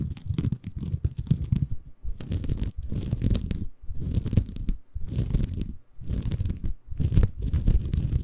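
A small green porous bamboo fiber sponge, soft and compressible, is held in both hands above a Tascam recorder while fingertips scratch and squeeze it. The result is bursts of deep, muffled, rumbling crunches and crinkles with brief quiet gaps between them.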